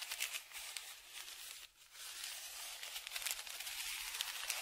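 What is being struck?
Kraft paper padded envelope.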